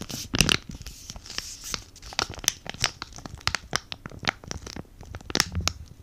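A flat, green, avocado-print sheet mask packet of laminated foil and plastic, sealed with the mask inside, is held close to the mic and crinkled and scratched with fingertips and short nails. It gives a quick run of dry, bright crinkles and sharp scratchy crackles that stop almost at once, over a faint low rustle.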